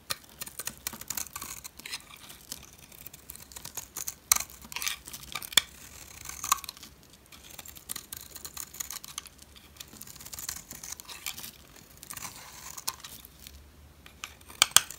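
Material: Soap.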